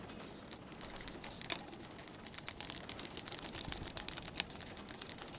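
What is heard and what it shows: Long pointed acrylic nails tap fast on a hollow purple and grey insulated plastic travel tumbler with a grip band and lid, held upright. The taps come as a dense run of crisp, bright clicks with no ringing tail.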